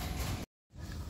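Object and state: Nothing is struck.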